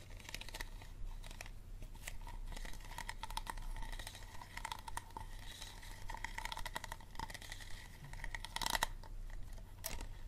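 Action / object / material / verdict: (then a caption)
scrape / thin ribbed plastic water bottle / plastic / none. Fingernails scratch and squeeze a small, empty, hollow, clear unlabeled plastic water bottle with a green cap and ribbed thin plastic walls. The result is a steady run of quick crinkly scratches and crackles over about ten seconds, with a faint tonal ring near 900 Hz and a low rumble underneath.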